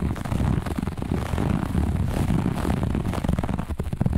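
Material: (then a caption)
Textile. Long nails on both hands scratch quickly across a grey-beige looped pile textile carpet. The result is a steady, dense rasping texture, heavy in the low end, with rapid overlapping scratches and no clear gaps between strokes.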